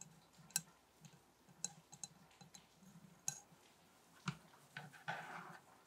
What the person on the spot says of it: Mostly bassy table tapping, some candle tapping